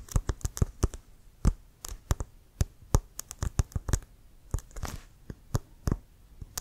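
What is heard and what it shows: Fingertips and nails tap and scratch the tip and sides of a brown leather American football, hollow and inflated and held upright. About two dozen short, dry taps with deep, hollow thumps, mixed with brief bright scratches, ring out in an irregular rhythm. Each tap dies away almost at once.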